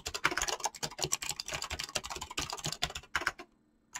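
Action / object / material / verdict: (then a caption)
tap / mechanical keyboard with PBT plastic keycaps / plastic / none. Fingertips type fast on a mechanical keyboard with clicky switches and PBT plastic keycaps, producing a dense run of bright, sharp clicks with very little low end. The typing stops shortly before the end, leaving a brief near-silence before one final keystroke.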